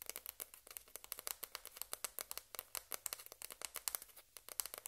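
A single small hollow white plastic ping pong ball is held up close and rapidly tapped and scratched with long red-painted nails, while other balls lie still on the table. Quick, dry, bright clicks and scratches patter in a dense, uneven stream with almost no ring and no low end.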